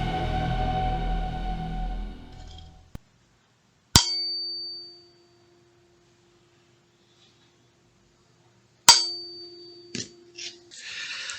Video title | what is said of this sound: Som e Percussão | som que vocês ouviram é o som de um diapasão